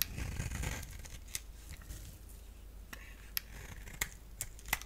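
A hand-sized solid purple bar of soap, held in the hand, is scraped and cut with a utility blade while long-nailed fingertips touch its surface. A dense, crumbly scraping fills the first second, then softens into a quiet rasp broken by short, sharp, bright clicks and ticks.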